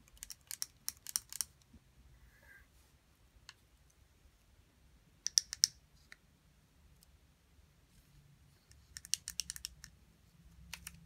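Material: Plastic.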